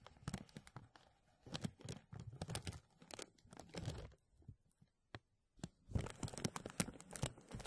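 A thin translucent plastic bag stretched over a mesh microphone is rubbed and grasped with both hands, producing dense crinkling and crackling bursts with low rumble and bright snaps. The crinkles come in clusters, pause nearly to silence around the fifth second, and then resume even denser.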